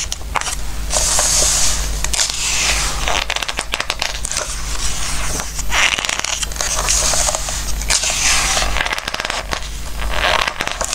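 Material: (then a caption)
Glossy paper. Fingertips rub and scratch across the glossy pages of a Christmas book and turn them, making crackly, papery scrapes and bright rustling swells over a steady low hum. Sharp crinkles and quick ticks mark each page turn, fading almost instantly.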